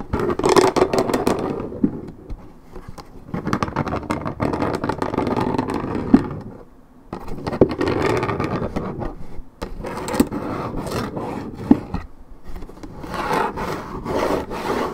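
Long red nails scratch the top of a hollow Minute Maid orange juice carton made of coated paperboard. Deep, hollow rasping scrapes come in long bursts with brief quiet gaps, sitting mostly in the low-mids with a few sharp ticks.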